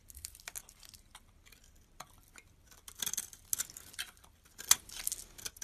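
A utility knife blade scrapes and shaves crumbly flakes off a yellow rectangular bar of solid soap held in the hand. The result is a series of quiet, crisp, bright scratchy strokes with almost no low end, with some strokes louder and sharper than others.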